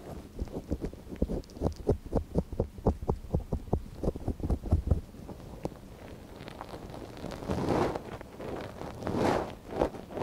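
A gloved hand holds the soft silicone ear of a binaural microphone while a thin wooden stick scratches inside its ear canal. A quick run of soft, dull scratching taps with a deep, muffled body fills the first half. It then gives way to quieter, drawn-out rustling scrapes that swell and fade.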